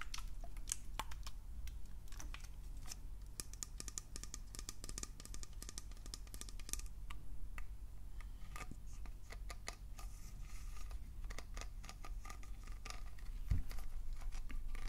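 Fingernails tap and scratch quickly over the bulb-shaped body and trigger head of a round, hollow pink plastic spray bottle. The result is a rapid, dense stream of short, dry clicks and scratchy bright ticks that die away almost instantly, all over a steady low hum.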